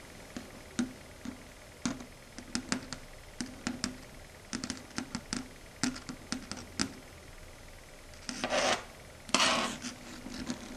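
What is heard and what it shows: Long red stiletto nails rub and scrape back and forth across a flat matte dark grey chalkboard. Many short, bright scratchy taps and strokes come at an uneven pace, followed near the end by two longer, louder rasping scrapes.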